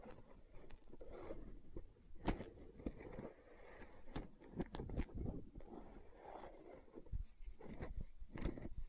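Long nails tap and scratch the side of a green plastic aloe gel tub held at an angle. Quiet, dull clicking taps with very short decay mix with soft, low scraping between them.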